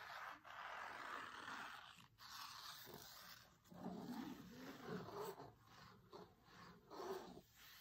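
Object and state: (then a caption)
Cloth-covered hardcover book. Flat hands and fingertips rub the linen cloth cover of a closed hardcover cookbook resting on a table, with a few taps. The result is a quiet, continuous, breathy swishing in the mids, rising and falling in waves and broken by brief pauses.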